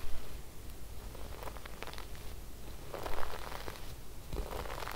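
A wooden bristle brush is swept across cream fabric embroidered with silver sequin flowers. It makes soft, scratchy rustling and crackling strokes over a steady low rumble, with a few slightly louder bursts as the bristles catch the sequins.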